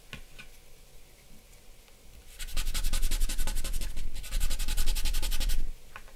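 Fingertips and the flat of the hand rub across a large sheet of white drawing paper bearing a charcoal portrait, which lies flat on a dark backing board on a wooden desk, blending the charcoal. Faint rustling gives way to a louder stretch of rapid, rhythmic back-and-forth rubbing with a dry, papery scratch over a low rumble. The sound then drops back to a quiet rustle.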